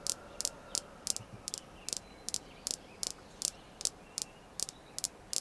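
A fingernail taps on the faces and edges of a small, solid, polished red jasper star stone, making 15 sharp, bright clicks, some in quick doubles. Each click is dry and dies almost instantly, with almost no low end, over a faint hiss.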